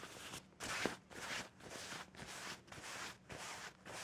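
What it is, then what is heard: Cloth bed sheet being scratched. Fingertips and nails aggressively scratch, rub and bunch a soft white or cream cloth bed sheet with a seam or hem lying flat on a bed. The sound is a series of bright, broadband rustling and scratching bursts, each separated by brief quiet gaps. It has a roughly steady rhythm and no ring.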